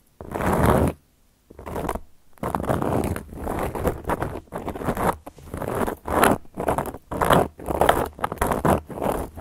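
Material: Cork.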